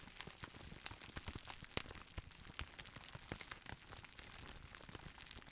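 A clear plastic roll of air-filled bubble wrap is held in both hands and gently squeezed and rubbed with the fingertips. The result is quiet, bright crinkling with sparse, short ticks and light pops, one sharper pop standing out near the middle.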